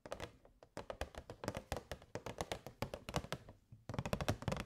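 Long grey nails tap the sides of a rectangular, hollow, transparent plastic box filled with purple fairy lights, held in both hands. Quick, dry taps with a hollow low thunk come in rapid bursts, with short pauses in between. Each tap dies away almost instantly.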